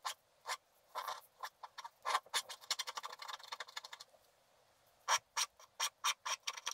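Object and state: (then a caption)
Wax-coated scratch art paper being scraped. The side of a wooden stylus scrapes larger areas of a stocking drawing on a flat sheet of black wax-coated scratch art paper. Short, dry, bright scraping strokes come in quick bursts with no low end, first in a dense run and then, after a brief pause, as evenly spaced separate strokes.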